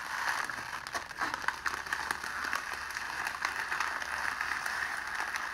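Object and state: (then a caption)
Clear cellophane sheet. A sheet of clear cellophane is balled up and squeezed tightly between both hands, giving a steady, dense crackling. The bright, dry crackles pile up continuously around the midrange and upper frequencies, with no low rumble underneath.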